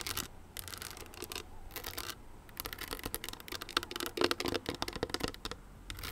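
Long nails scratch a small, hollow, owl-shaped crystal clutch with a metal frame. The result is a quiet, bright series of irregular scratches and clicks, with brief glassy pings of about 340 Hz that sound most clearly midway through.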